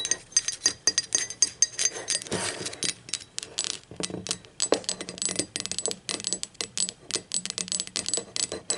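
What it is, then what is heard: Ceramic mug. Long acrylic nails tap rapidly across the handle, wall and base of a hollow, speckled teal ceramic mug lying on its side. The result is a dense run of sharp, bright clicks and light clinks, each dying away almost at once, with little low end and an irregular, fidgety rhythm.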